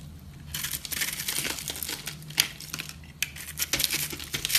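A metal knife blade scrapes and cuts into the crumbly interior of a palm-sized, porous, aerated pink soap bar held in one hand with long blue nails. The result is dense, bright crunching and crackling, with sharper crisp snaps standing out from a steady scratchy texture and almost no low end.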